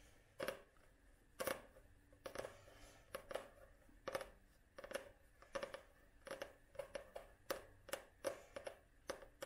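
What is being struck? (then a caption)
Paperback book with glossy card cover. A Penguin paperback book with a glossy card cover, solid and held upright, is tapped and scratched on the cover with long nails. Quiet, irregular clicky taps ring a short midrange note around 540 Hz, each with a bright scratchy edge, dying away almost at once between strokes.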